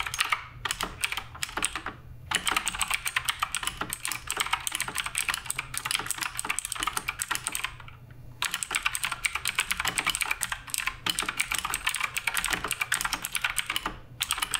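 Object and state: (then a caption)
Mechanical keyboard with plastic keycaps. Fingertips of both hands type continuously on the plastic keycaps of a black RGB Redragon K588 Broadsword mechanical keyboard on a wooden desk. The dense, bright clicking and clacking of the keys runs in fast streams, pausing briefly near 2 and 8 seconds and again around 14 seconds.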